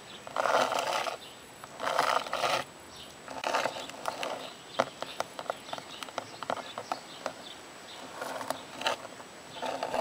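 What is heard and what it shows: Long purple nails scratch and tap the textured surface and engraved "WELCOME" letters of a solid grey garden plaque of cast stone or concrete lying on the ground. Bursts of dry, raspy scratching with a midrange hiss alternate with a series of crisp, short taps that stop almost instantly, with no low rumble.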